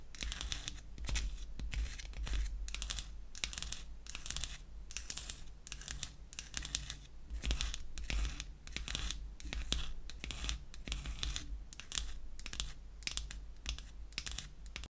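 Long acrylic nails scratch and tap rapidly on a small, light wooden lipstick cylinder held in the hand. The result is a steady stream of dry, bright scratching bursts and crisp clicks with almost no ring, over a constant low hum.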